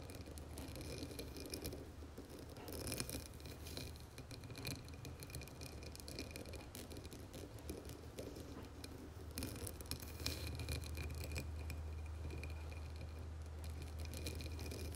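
Long nails on both hands tap and scratch the textured sides of a medium, dark blue embossed glass candle jar filled with wax, resting on a marble surface. The result is a quiet, steady stream of rapid, uneven clicks and scrapes with bright edges over a low, constant hum, growing slightly louder in the second half.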